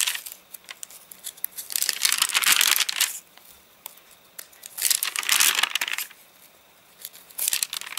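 Fingertips crinkle and bend the stiff, dried page edges of an open, rain-dried paper catalogue. Sharp, bright crackles and ticks are scattered throughout, swelling into three longer, dense bursts of crinkling with almost no low end.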